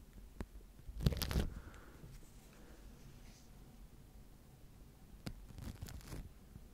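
A wooden-handled natural-bristle face brush sweeps over a microphone tightly covered in clear plastic wrap. It makes crinkly, scratchy bursts with a heavy low rumble, loudest early in the clip, then quieter brushing and another cluster of crackles near the end.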